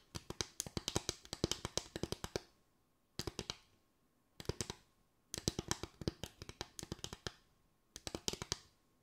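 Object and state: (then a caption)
Bamboo tray. A bamboo tray is tapped with the fingers in five bursts of quick, dry taps separated by short pauses. Each tap is crisp and bright with almost no ring, with a light woody body.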